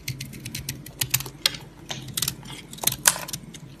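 A yellow utility knife blade scores and scrapes a white solid soap bar held in the palm. It makes a quick, irregular run of crisp, bright scratching and crackling strokes with very short decay, over a faint low rumble.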